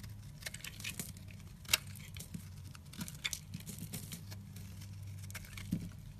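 A red-handled utility knife blade scrapes across a solid, yellow, rounded, hand-sized bar of soap held in the hand, peeling curls off its surface. Soft, crisp scraping and crinkling ticks run throughout, with a few sharper bright clicks, over a steady low hum.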